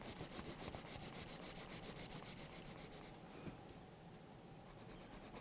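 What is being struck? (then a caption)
Wooden coloured pencil on thick paper sketchbook page. A green wooden colored pencil, held in the hand, rubs back and forth across the page of a thick paper sketchbook lying open, shading a letter. Quick, even strokes make a rhythmic, bright scratchy hiss for about three seconds. The rubbing then turns softer and more continuous, and faint, quicker strokes return near the end.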